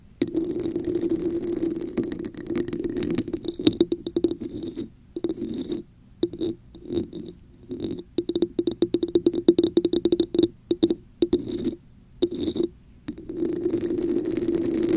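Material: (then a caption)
Plastic. Long nails scratch and tap the raised pattern on the sides and top of a red, hollow, textured plastic cup placed over the microphone. Stretches of dense, rasping scratches with a hollow, boxy resonance alternate with bursts of quick, dry clicks and brief silent pauses. The cup's hollow body gives every stroke a close, muffled mid-range tone.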